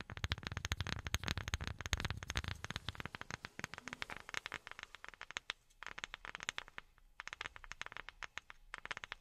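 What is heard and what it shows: A wooden object is tapped with silicone rubber pads worn on the fingertips, producing rapid, dense flurries of soft, dry taps. Each tap carries a dull low thump with a bright clicky edge and dies away almost at once. The tapping is heaviest and fullest at the start, then continues in lighter bursts separated by brief pauses.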